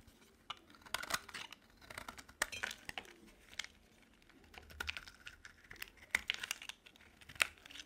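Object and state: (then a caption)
Dry soap bar being shaved. A utility knife blade shaves thin curls from a solid light blue bar of dry soap held in the palm. Crisp, bright scraping and crackling strokes come in irregular bursts, with short dry snaps between quieter stretches.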